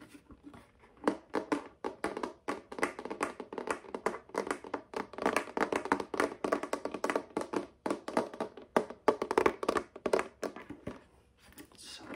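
Fingertips and nails tap rapidly and irregularly on the inlaid surface of a folding wooden chessboard with light and dark wood squares, held upright and likely hollow. The taps are short, dry, midrange knocks with almost no ring, clustering in quick bursts. They fade to near silence around the eleventh second before a few soft taps resume.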